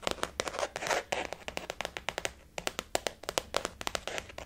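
Long fingernails tap quickly on a blue floral-print glossy faux leather zip-around wallet resting on a table. The result is a rapid run of short, sharp clicks with bright crinkly edges and almost no ring, with a brief rustling swell between the taps.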